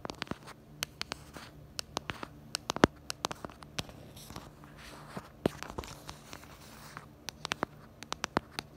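Long nails tap and scratch the back of a smartphone in a pink plastic case, near the black bumper around the camera. Dozens of sharp, irregular clicking taps ring out over a soft, steady scratching hiss.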